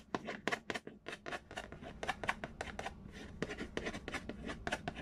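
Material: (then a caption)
Cardboard. Fingernails scratch and trace across the printed lid of a large, hollow cardboard Payday board game box. The result is a quick, uneven run of short, dry scratching strokes with bright, papery texture and almost no ring, over a faint low background rumble.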